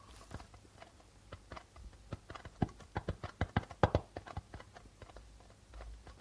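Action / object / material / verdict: tap / darbuka drum with plastic membrane / plastic / none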